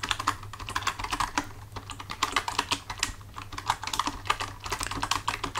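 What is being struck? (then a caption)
Plastic computer keyboard. Both hands type with their fingertips on a full-size black plastic computer keyboard resting on a desk. Fast, irregular clicks and clacks of bright, short key taps die away almost at once, over a faint steady low hum.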